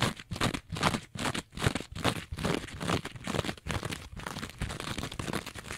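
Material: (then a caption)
Synthetic fibre. A rectangular two-layer kitchen sponge, green scouring pad on one side and yellow foam on the other, is held flat in both hands while long nails scratch fast across the green scouring side. The result is a rapid run of rough, crinkly scratching bursts in a loose, quick rhythm, with broad hissing texture up into the highs and a low thump under each stroke that stops dead without ringing.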